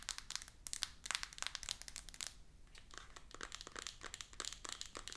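Fingertips and long nails rub and scratch a small, rigid, full cardboard iPhone 14 Pro 256 box that is still in its plastic shrink-wrap and lying flat. The result is a dense run of quick, bright, crinkly scratches and taps with no ring.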